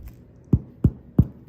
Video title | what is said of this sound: Scoring sourdough boules! #sourdoughbaking #bread #sourdoughclub #sourdoughbread #sourdough | when you knock on it like that, it should sound like you're knocking on a hollow door